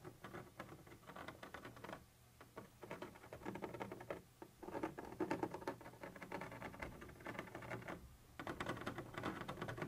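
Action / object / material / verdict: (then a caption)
scrape / textured plastic surface scratched and tapped with a thin metal tip / plastic / none. A thin metal pointer tip scratches and taps across a white translucent textured plastic surface. The result is a quiet, rapid patter of dry scratching and light ticking, centered in the low mids, with brief lulls around 2 and 8 seconds before the scratching picks up again.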